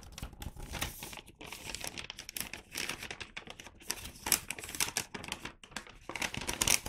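A flat, empty, medium-size red-and-white Santa-print paper gift bag is held and flipped in both hands as fingertips rub and crinkle the paper across its front and side panels. The result is a continuous run of dense, bright crinkling and rustling with quick crackly bursts that swell and fade throughout.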